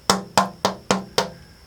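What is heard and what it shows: A braced wooden acoustic guitar top with scalloped, lightened braces is tapped five times, each tap a short, bright knock that fades quickly, with a low resonant hum underneath. The top sounds nice.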